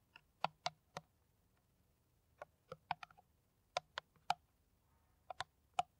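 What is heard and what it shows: Long nails tap an empty, hollow, clear plastic PET water bottle with a white cap. Short, dry, bright clicks with a hollow tone near 730 Hz arrive in irregular clusters separated by quiet pauses. Each tap dies away almost instantly.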